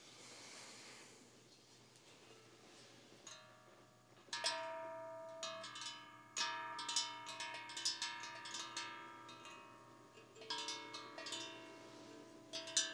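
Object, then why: Steel tongue drum. A large, bronze-colored hollow steel tongue drum (spolum drum), held by hand beside a binaural microphone, is tapped on its tongues with fingertips and painted nails. After a few seconds of soft hiss, a series of light taps sets off clear, bell-like tones that ring and overlap into a shimmering, bright wash. The taps come in loose clusters with a final accent at the end.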